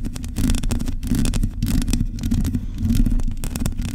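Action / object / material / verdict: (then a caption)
scrape / metal mesh microphone grille / metal mesh / none. Long nails scratch the bare metal mesh grille of a microphone with a hollow head. The scratching is a steady, dense rasp of quick strokes, heavy in low rumble with faint bright crackle on top, and it never stops.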